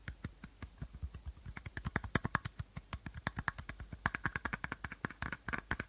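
Short fingernails tap and scratch the plastic body of an empty, hollow clear plastic bottle held sideways with a teal cap at the end. About forty quick, dry taps come in a steady, uneven rhythm, each a short hollow knock with a low thump and a crisp bright click that dies away almost at once. Light scratchy rasps sit between the taps, growing busier toward the end.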